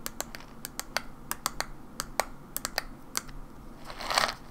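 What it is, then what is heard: Plastic bottle tapped with fingernails. Long nails tap the white screw cap and body of a white plastic supplement bottle held sideways, making about 19 sharp, bright clicks that stop almost instantly, spaced unevenly. The clip ends with a louder, brighter scratchy rustle as the nails rub the plastic.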